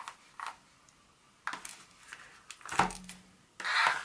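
Long nails tap and scratch on a solid dark chocolate bar lying flat, then lifted. Short, dry clicks come at uneven intervals with a mid-pitched, bright edge and almost no ring. The clip ends on a longer, louder scratching rasp.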